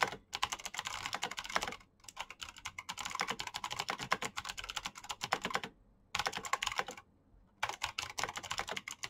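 Fingertips type continuously on a black Razer mechanical keyboard with plastic keycaps and clicky switches. Dense bursts of sharp, bright clicks come in several runs separated by short silent pauses.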